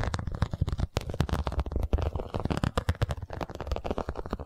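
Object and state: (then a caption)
Vinyl cosmetic pouch. A small zippered cosmetic pouch of iridescent holographic faux-leather vinyl with an embossed scale pattern is held in hand and scratched and tapped with long nails. A rapid, continuous run of short, dull taps and scratchy crackles sounds, mostly low and thumpy with little brightness. Each tap dies away almost at once.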